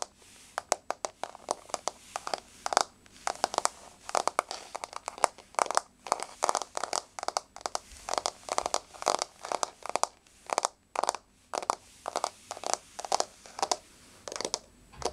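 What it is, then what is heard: Wooden floor tapped with fingernails. Long blue-painted fingernails on both hands tap a flat, solid wood-grain floor. The result is quick, irregular runs of short, dry clicks with a midrange body around 900 Hz and a bright edge. Each tap dies almost instantly with no ring.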